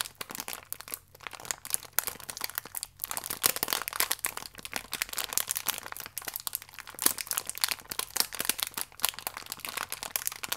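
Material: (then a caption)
Plastic film. A small plastic biscuit pack with the biscuit still inside is crinkled by pressing and rubbing it with fingertips and nails. Dense, bright crackling and crunching rustles go on steadily, with only brief quiet gaps. The sound is sharp and high with almost no low end.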